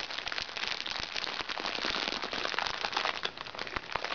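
Hands squeeze, press and scratch a small, crinkly recycled plastic makeup bag lying flat. The result is a steady, dense stream of bright crackling and crinkling with many quick, sharp snaps and almost no low end.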